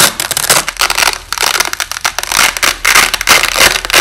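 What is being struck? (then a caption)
Nylon hook-and-loop fastener tape. A white nylon hook-and-loop (Velcro) strip is held up close under red lighting while fingers slowly rip its halves apart, with the audio slowed down. The result is a dense, bright crackling tear made of rapid rough bursts with almost no low end, pausing briefly between pulls.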